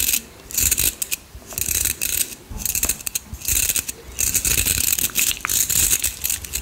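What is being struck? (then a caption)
Round hair brush with perforated metal barrel and bristles. A round styling brush with a perforated metal barrel and bristles is held close to the microphone while its bristles and barrel are scratched and rubbed with the fingers. The result is bright, crackly, ratcheting scratches in repeated bursts separated by brief quieter pauses, with a faint low rumble underneath.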